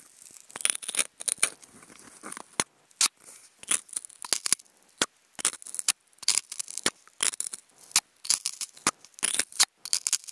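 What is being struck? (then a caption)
Polystyrene foam food container scratched with wooden toothpicks. Wooden toothpicks scratch across a hollow, octagonal white polystyrene foam food container. The result is a series of short, dry, squeaky scratching bursts, bright and hissy with almost no low end. The strokes are separated by brief silences, some quick and clipped, others drawn out into rough, crinkly scrapes.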